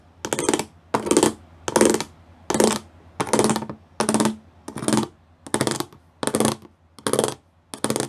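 Fingertips and nails tap the rows of small square pyramid studs on a flat grey plastic sheet with raised pyramid studs. Eleven short bursts of quick, crisp clicking stand out with brief pauses between them. Each burst sounds bright and dry, with a faint hollow tone underneath.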